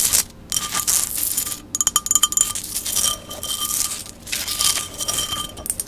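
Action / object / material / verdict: tap / ceramic vase / ceramic / none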